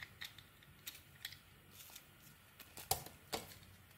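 A utility knife blade scrapes and carves shavings off a hand-held, hand-sized solid rectangular bar of white soap with a purple glitter coating. About a dozen short, dry, bright scraping clicks come at uneven intervals over a quiet background, with the two strongest cuts near the end.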